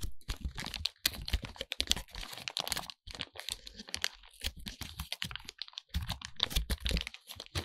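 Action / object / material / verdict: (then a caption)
scrape / foil-lined paper soap wrapper / foil paper / none. Bare fingertips unfold, crinkle and peel open a crinkly silver foil-lined paper wrapper around a small, solid white bar of soap. The result is a dense run of sharp, dry crackles and crunches with bright high-end sizzle and soft low thumps, each snap dying away almost instantly.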